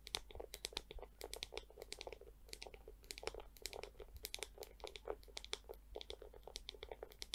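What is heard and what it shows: Long nails tap and scratch the hollow dome and handle of a small pink plastic scalp massager brush with clear plastic bristles. Rapid, dry, crisp clicks and scratches sound in dense, uneven bursts with bright, high edges over a faint low hum, and each click dies away almost instantly.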